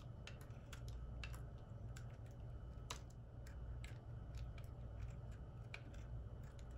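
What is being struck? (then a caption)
Solid soap bar cut with a metal blade. A solid white, carved oval bar of soap is held in the hand and sliced with a metal utility knife blade, curling off shavings. Quick, crisp, bright ticking scrapes sound repeatedly with each cut, over a steady low hum.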